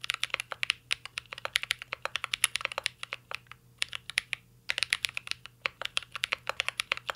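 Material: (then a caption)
Plastic. A mint-green Cyberboard R3 mechanical keyboard with a metal case and plastic keycaps is typed on continuously with the fingertips. Its crisp, bright, short clicks come in quick bursts, with a brief lull in the middle, for about fifty keystrokes in all.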